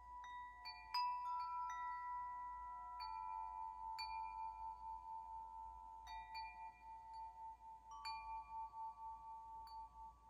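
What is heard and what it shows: A hollow metal tube wind chime is held up by its string while fingers nudge the tubes, setting them swinging against each other. Bright, overlapping metallic tones centred near 1 kHz strike at irregular moments and ring out for a few seconds each. The result is a quiet, continuous shimmer of layered chime notes.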